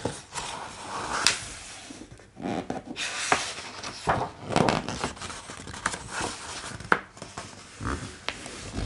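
Fingertips of both hands rub, trace and tap across the thick paper pages of a large open hardcover art book, moving from printed text to blank pages, and flip them. Soft, dry rustling and brushing swishes are broken by crisp, bright taps and page snaps.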